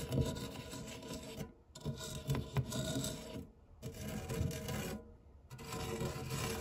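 A white silicone spatula scrapes and rubs the textured, crumb-covered base of an empty round non-stick metal tart tin with a fluted rim. Soft, dull rasping strokes come in four bursts separated by three brief pauses, with most of the sound low and muffled and only a faint bright hiss on top.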